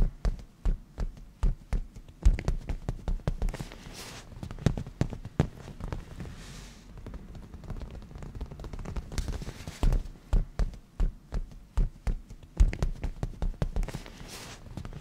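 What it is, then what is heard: Leather cushion. Black-painted natural nails of both hands tap rapidly on a padded black grained leather cushion. The result is quick, dull, low thuds that die away almost at once. Bursts of sharper taps alternate with softer, quieter stretches of tapping and faint rubbing.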